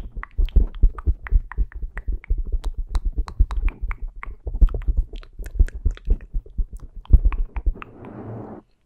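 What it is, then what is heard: Foam microphone windscreen. Fingertips with short painted nails tap and pat the small, soft black foam windscreen on a handheld Zoom recorder. The result is a fast, irregular run of deep, muffled thumps with faint crisp clicks on top. It ends in a soft rustling brush.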